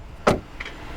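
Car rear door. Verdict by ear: Solid.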